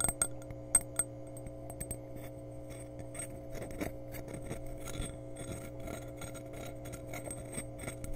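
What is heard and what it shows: A glass measuring cup is tapped and scratched around and over a microphone for ASMR. A few sharp, bright clinks stand out early, then quieter, uneven scratching and soft tapping continue over a steady low hum.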